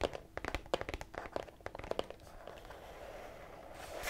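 A small lilac printed cardboard tea box with a floral label, hollow and likely full of tea bags, is held in both hands and tapped and scratched with long red-painted nails. A rapid series of crisp, dry taps and papery crackles fills the first half. It then gives way to a softer, steady scratching hiss that grows brighter and louder at the end.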